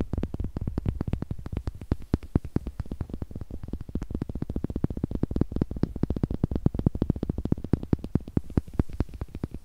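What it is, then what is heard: Small wooden eggs. Two small, solid, light wooden eggs are held close to the microphone and tapped with long nails and knocked together. The result is a rapid, steady stream of short, dry wooden clicks. The clicks have a deep, close-up body and almost no ring after each tap.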